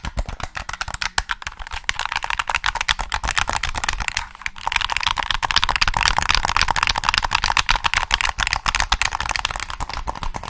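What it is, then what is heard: Plastic game controller. Fingertips tap and click the triggers and shell of a hollow black plastic PS3 controller held close, making a dense, irregular run of short, dry clicks and taps. The clicks are bright with little low end, and each one stops almost at once. A brief pause comes near the middle before the tapping picks up again, slightly louder.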